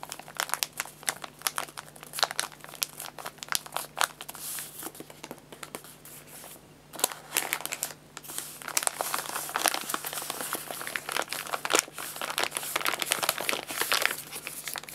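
An empty paper guinea pig food bag is rubbed and scratched with fingertips, giving dense, dry, bright crinkling and scratching with a faint steady low hum underneath. After a brief quiet pause, the bag is unfolded and crinkled, and the rustling grows louder and more continuous.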